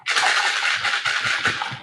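Several goldfish crackers are shaken inside a lidded box, producing a continuous dry, bright rattle and hiss of small pieces tumbling against the walls. Periodic low thumps mark the back-and-forth strokes of the shake.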